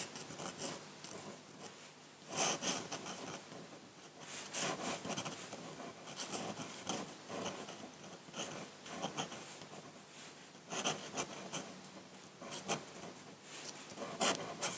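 A metal dip-pen nib, held in the fingers, scratches short ink strokes across a flat sheet of white drawing paper. The sound is a bright, dry rasp in quick bursts, with a few louder strokes standing out over a steady soft scratching.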